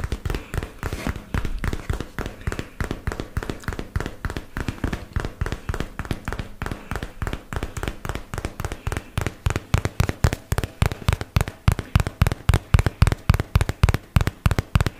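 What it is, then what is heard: Cardboard product box. A hollow white and teal paperboard product box is held in the hands and tapped quickly with fingertips and nails on its flat faces, close to the mic. The result is a steady stream of dry, dull, low thumps that die away almost instantly, at a quick, somewhat uneven pace that grows a little louder and more emphatic toward the end.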